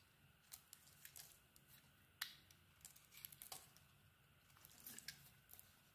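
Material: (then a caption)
Soap. A solid, hand-sized bar of white soap with a red-bronze coated surface is held in one hand and shaved with a small metal blade. Quiet, bright, scratchy scraping cuts come in short, irregular strokes with crisp, dry edges that die away almost instantly. Little low end sits under them besides a faint background hum.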